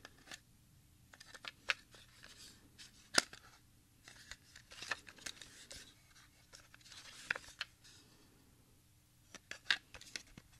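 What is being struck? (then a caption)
Plastic audio cassette with tape reels. A Sony HF 60 plastic audio cassette, a small hollow case with a smoky translucent shell and tape reels inside, is handled and turned with the fingertips of both hands. Sharp, bright clicks and light rattling come in scattered bursts over a quiet background, each one dying away almost instantly.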